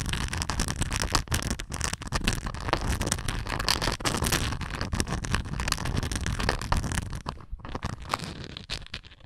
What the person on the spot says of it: 14:19 - Textured plastic (tums container)